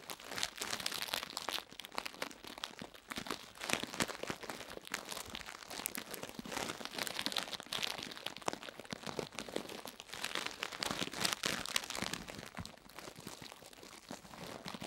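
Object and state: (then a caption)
Silicone ear brushed with toothbrush. A purple plastic toothbrush, held in the hand, is brushed and scratched continuously across the soft, solid, palm-sized silicone ear of a binaural microphone set in its white plastic ring. The result is a dense, unbroken stream of bright, crunchy, crinkling bristle scratches with almost no low end and no ring after each stroke.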